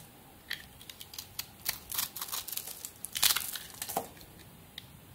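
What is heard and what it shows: A small solid white soap bar with a red and gold glitter coating is scored into a grid with a metal blade, then crumbled with the fingers. Quiet, bright, crisp scraping clicks and crackles come in quick bursts over a faint hiss, with almost no low end. The crunching peaks in a dense flurry past the midpoint before thinning out.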